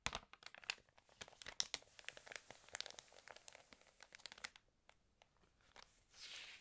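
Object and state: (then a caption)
Water-damaged glossy magazine pages being rubbed and turned. Fingertips rub and turn the wavy pages of an open, water-damaged glossy paper fashion magazine. It makes quick, dry, bright crinkles and crackles with almost no low end. Near the end comes a softer, steady high swish as a page slides.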